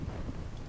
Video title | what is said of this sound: Best Pâte à Choux in your processor!! #baking #creampuffs #éclaire | tap them and they sound hollow and they're crisp